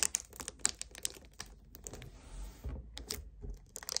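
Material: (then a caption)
Plastic. Fingers and nails grip, squeeze and tap a hollow 1 L white plastic strawberry kefir bottle up close. Quick, bright clicks and crinkly plastic scratches come in a fast, uneven run, with a softer hiss of squeezing plastic in the middle.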